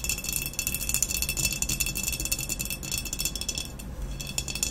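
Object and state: Glazed ceramic vase.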